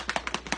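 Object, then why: Glass marble in a lidded jar of paint mix. A glass marble rattles inside a lidded container of milk paint powder and water as it is shaken, the marble acting as an agitator to mix the paint. Quick, bright clicking taps come in a rapid series, each dying away almost at once.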